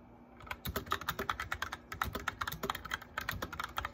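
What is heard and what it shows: A white plastic mechanical keyboard with lit keycaps is typed on by fingertips with medium nails. The result is a steady run of quick, crisp clicky keystrokes with short, bright plastic clacks and occasional deeper thuds. The sound starts after a brief quiet moment.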